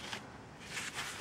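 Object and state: Nothing is struck.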